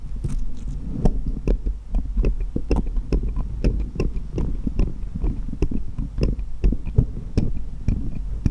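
Small solid steel jeweller's screwdrivers lie crosswise on a cloth while one, held upright by the fingertips, is tapped against the others, metal on metal. The result is a steady run of short, sharp, bright ticks that die away almost instantly over a constant low, throbbing hum.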